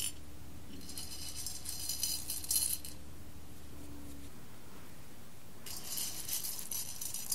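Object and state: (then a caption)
Roasted coffee beans stirred in a glass bowl. Fingers with long red nails rake and stir whole roasted coffee beans spread in a clear embossed glass bowl. Bright, dense rattling and clicking comes in two bursts, one in the first three seconds and another near the end, with a quiet pause between. A faint low hum runs underneath for the first four seconds.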